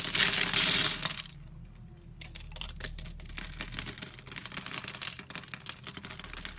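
A utility knife blade cuts and scrapes small scored cubes off the surface of a palm-sized solid green bar soap held in the hand. A loud, bright scraping hiss fills the first second, then drops to a quieter, steady stream of crisp, dry crackles and snaps as the cubes break away.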